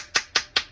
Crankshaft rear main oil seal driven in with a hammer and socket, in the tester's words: You can hear it when it's metallic noise. That's when you know it's flush.